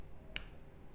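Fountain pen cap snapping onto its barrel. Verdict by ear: Worn.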